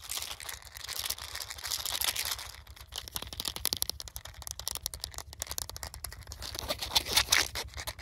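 A small, hollow white plastic medicine bottle with a green plastic cap is held up while fingertips and nails tap and scratch its cap and sides. The result is a bright, dense run of quick clicky taps and scratchy rustling. Some stretches are smoother and hissier, with a steady low hum underneath.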